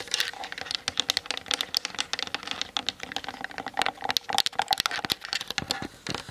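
Long nails tap rapidly on the top plate and lens barrel area of a Canon DSLR with a plastic body. The result is a fast, irregular stream of sharp, dry, bright clicks that stop almost instantly, with almost no low end.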